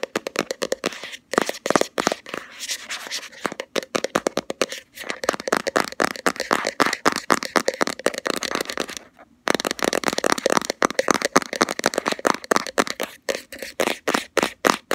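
Long fingernails tap and scratch quickly on the flat lid of a round plastic Body Shop Hemp cosmetic jar. Rapid, dry, bright clicks blend with light scraping, with almost no low end, and there is a brief pause around 9 seconds before the fast tapping resumes.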